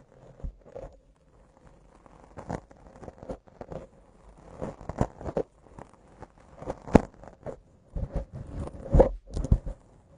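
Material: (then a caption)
Foam. Long acrylic nail tips scratch a soft, porous black foam windscreen on a microphone. Irregular bursts of muffled, crunchy scratching come close to the mic, heavy in low tones with little ring, separated by short quiet gaps.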